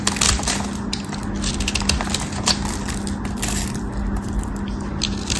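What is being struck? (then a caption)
Soap bar cut with a metal knife. A metal craft knife carves and scrapes a cream-colored solid soap bar, held in the hand, into small cubes, making dense, crisp crunching and crackling with bright, sharp scraping bursts. A steady low hum runs underneath throughout.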